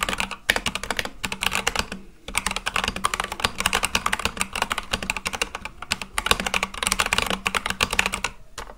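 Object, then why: Mechanical keyboard with plastic keycaps. Fast, continuous fingertip typing on a full-size Akko mechanical keyboard with white and light-blue plastic keycaps on a black case. The bright, clacky keystrokes come in quick runs with brief pauses between bursts. Each click is crisp and short, with almost no ring.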